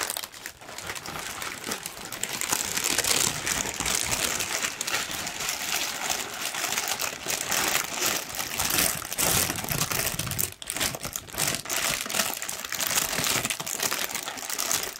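A large, thin pink tissue paper sheet is crumpled by hand, then spread out and shaken. It gives a steady, dense, bright crinkling and rustling with little low end, dipping briefly near the 10.5-second mark before continuing to the end.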